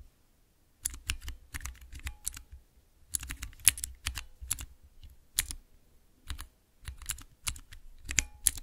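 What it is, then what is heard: Mechanical keypad with clear plastic keycaps. Fingertips and nails press three tall translucent plastic keycaps on a clear plastic mechanical keypad with Cherry MX mechanical switches. Quick bursts of bright, sharp clacks with a soft low thump underneath come in clusters separated by brief pauses, each stroke stopping almost instantly.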